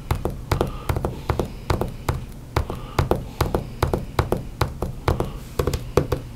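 Books are tapped and knocked with the hands in a quick, uneven series. Each hit is a dull, short thud with a heavy low end and almost no ring, with a faint, softer knock between some of them.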